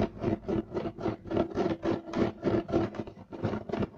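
Both hands scratch fast at a flat, solid, beige striped woven loop-pile carpet with short nails and fingertips. About 15 quick, irregular rasping strokes are heard, each a dry, broadband scratchy burst with a low-mid body and a bright edge that stops almost at once.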